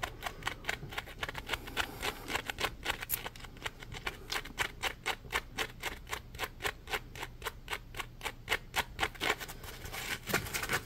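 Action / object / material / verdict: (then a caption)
scrape / ridged polymer foam sponge / polymer foam / none. Fingertips scratch and tap the ridged side of a palm-sized, solid, yellow polymer foam Scrub Daddy sponge held edge-up. About fifty short, dry, crisp ticks come at a quick, slightly uneven pace of roughly four per second. Each is bright and papery with almost no ring, over a faint low hum.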